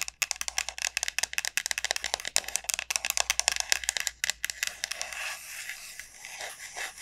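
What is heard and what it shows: Long nails tap quickly on the hard shell of a large, hollow dried gourd, producing a rapid run of sharp, dry, bright clicks with almost no ring. In the last couple of seconds the taps blur into a softer, continuous scratchy rustle.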